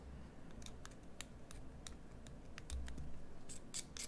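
A metal carving knife shapes a solid green bar of soap with scraping cuts. Short, bright, crisp cuts and scrapes repeat at an uneven pace over a quiet, low background hum, growing a little louder toward the end.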